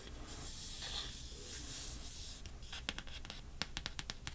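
Long dark-painted nails scratch and rub across the surface and edges of a small stack of coated-paper Pokemon trading cards held in one hand. A soft, continuous papery scratching hiss gives way to a run of crisp, quick nail clicks and scrapes against the cards.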